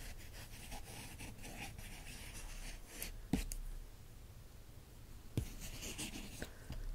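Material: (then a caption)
Glossy paper. A capped green pen traces and scratches across the photos on an open glossy paper magazine page, making a steady, soft, dry scratching sound. Two sharper light taps stand out, each dying away almost at once.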